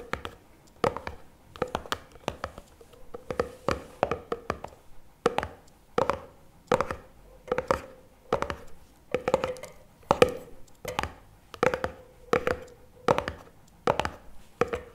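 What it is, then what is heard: Plastic jar lid tapped. Fingertips tap the lid of a medium cylindrical plastic NOVI chocolate spread jar with a paper label, held on its side. The taps come in quick, steady bursts of short, dry clicks with a faint hollow tone around 500 Hz. Each tap dies away almost at once, with little low end or brightness.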